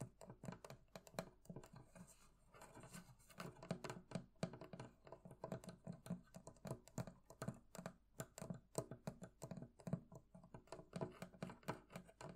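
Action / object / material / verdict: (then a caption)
tap / metal fittings on a wooden barrel chest / metal / none. Fingers tap steadily on the metal fittings of a barrel chest, producing a quick, uneven run of soft, dull knocks. Each tap dies away almost at once, with a low, woody body and a faint midrange ring, at a quiet, close level.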